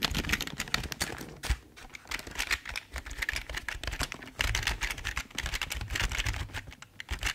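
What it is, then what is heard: Plastic computer keyboard. A full-size, hollow black plastic Logitech keyboard is tilted in the hands while fingertips type and tap on its keys. The result is a steady run of quick, dry plastic clacks with bright clicky tops and a low hollow thump under them, each tap dying away almost instantly.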